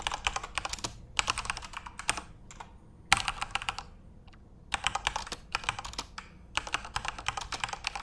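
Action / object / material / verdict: tap / plastic mechanical keyboard / plastic / none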